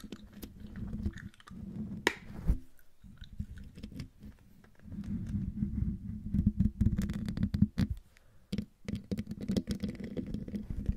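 Long dark-painted nails of both hands scratch close up across the hollow metal mesh grille of a silver Blue Yeti microphone. The result is a dense, low, muffled scratching rumble dotted with sharp little ticks. It breaks off briefly around 3 and 8.5 seconds before resuming.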